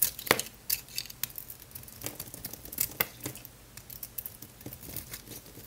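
A utility knife blade scrapes and shaves thin, crunchy flakes off the face of a small, solid, oval pink Lux bar soap held in one hand, with some silver foil wrapper still on one edge. A quick series of short, crisp, bright scraping crunches is heard, each dry with almost no ring. The loose flakes pile up on the marble below.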